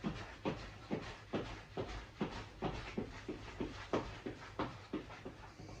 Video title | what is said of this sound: CAMELBAK HYDRATION PACK - HOW TO USE, CLEAN & STOP THE SLOSHING SOUND! | the sound compared to what it was before is is completely different